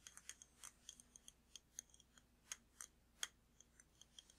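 Fingertips and nails tap a large glass jar candle with a glass lid, full of red wax, held up close. About twenty quiet, irregular taps produce short, bright clicks with a faint glassy tone near 3.2 kHz. Each tap dies away almost instantly, leaving no ring.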